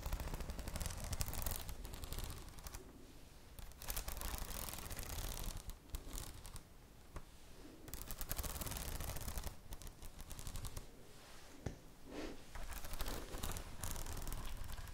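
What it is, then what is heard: Plastic-cover spiral notebook. Long nails tap and scratch the plastic cover of a red spiral notebook held upright. Rapid, irregular clicks and scratchy rustling come in dense bursts, with a strong low thump underneath and brief quieter stretches between them. The taps are dry and short, with almost no ring.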